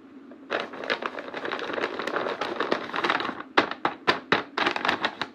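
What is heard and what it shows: A large flat printed paper blind bag, hollow with small packets inside and held against a cardboard backdrop, is handled, pressed and tapped with fingertips and painted nails. The paper crinkles steadily at first, then gives way to a run of sharp, separate taps and crackles with bright edges and little low end.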